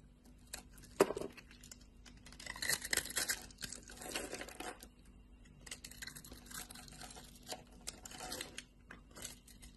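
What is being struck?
Bar of soap.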